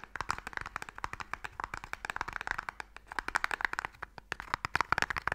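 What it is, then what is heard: Wooden Mikado box. Fingernails tap fast and scratch across the lid of a small, hollow wooden Mikado box held upright. About 35 short, dry clicks land in quick, uneven bursts with a hollow, woody tone centered in the midrange, and a faint scraping fills the gaps between them. The clicks end almost instantly, with no ringing.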